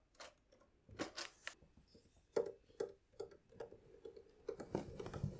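Fingertips press and tap the bass buttons and then the treble keys of a red pearloid, celluloid-covered 72-bass piano accordion, which is hollow with plastic keys and buttons. A series of short, dry clicks and taps is heard, each with a low hollow knock around 450 Hz and a brief bright edge, fading almost at once.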